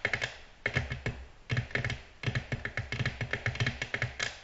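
The nail tips of long natural nails on both hands tap rapidly on a glossy black glass tabletop. About two dozen sharp, dry clicks come in quick, uneven bursts with brief pauses. Each click has a bright glassy tick near 2 kHz over a soft low knock and dies away almost instantly.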